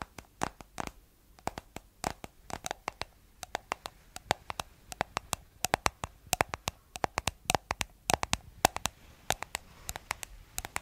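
Long nails tap and scratch the white plastic lid of a round, palm-sized, hollow plastic cosmetic jar with a blue body. About fifty quick, sharp, hollow clicks ring near 750 Hz and stop almost at once. Faint bright scratching sounds between the taps, and the pace picks up toward the end.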